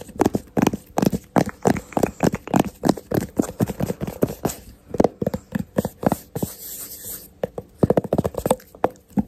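Fingertips and short nails tap and scratch the screw lid and sides of a medium yellow plastic Zwitsal lotion jar held in both hands. Several dozen quick, dull, dry taps come in uneven bursts, with a brief stretch of softer scratching partway through. Each tap dies away almost at once.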